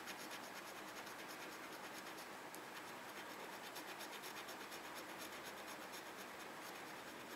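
The tip of a red plastic pen-like tool scratches the coating off the grid boxes of a small, flat printed paper parking coupon resting on a desk. The result is a steady, quiet, dry scratching with a bright, hissy texture and almost no low end. It comes in loose, uneven strokes of roughly two per second.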